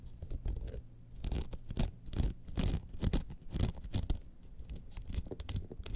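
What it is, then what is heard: Rhinestone-studded clutch bag being scratched. Long nails scratch the studded flap and sides of a trapezoid gold rhinestone-studded evening clutch bag standing upright. The result is a run of quick, irregular scratchy bursts with short crackly rasps, heavy in low-end thump and fading almost instantly between strokes.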